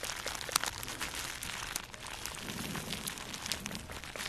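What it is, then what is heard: Plastic bubble wrap being crinkled. A small wad of plastic bubble wrap is held in both hands above the mic and crinkled and squeezed with fingertips and long nails. The result is a steady, bright crackling and crunching with dense overlapping snaps, one sharper pop standing out near the start.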